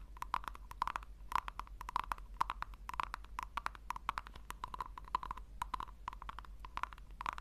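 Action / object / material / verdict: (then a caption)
tap / small round plastic tub / plastic / none. Long nails scratch the rim and tap the sides of a small, round, hollow pink plastic tub. The result is a quiet, rapid stream of short, dry clicks with a hollow tone near 1 kHz, each tick dying away instantly over a steady low hum.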